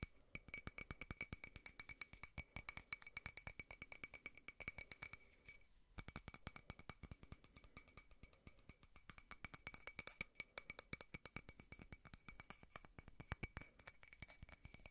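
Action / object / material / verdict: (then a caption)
tap / small frosted glass votive holder / glass / none. A small frosted glass votive holder with a white candle inside is tapped quickly with fingernails, producing a rapid, steady stream of crisp, bright clicks with a faint glassy ring. A brief pause comes around the six-second mark before the fast tapping resumes.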